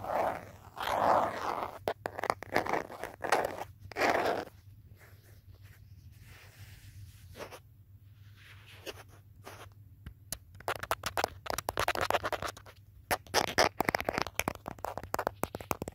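Fingertips and nails tap and scratch the back of a handheld smartphone in a teal hard plastic case, with the phone itself doing the recording. Close, dry clicks and raspy scratching come in dense bursts with crunchy, zipper-like strokes, then fall to a quiet stretch of faint tracing before the rapid tapping returns.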